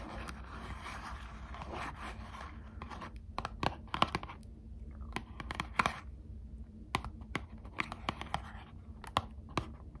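Long acrylic nails scratch and tap the back of a small Squishmallows trading card pack, a thin cardboard backing with a plastic window, held in both hands. A dense, continuous scratching comes first, then gives way to sharp, separate clicking taps over a steady low hum.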